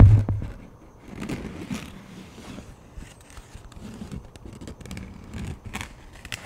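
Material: Plastic.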